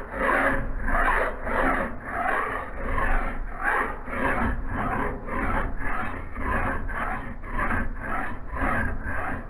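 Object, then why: Steel axe head. A steel file is pushed by bare hands across the edge of a solid steel axe head clamped in a vise, in repeated rasping strokes. The strokes come in a steady, fairly quick rhythm, each a gritty mid-range rasp over a low rumble, with a faint high hiss above.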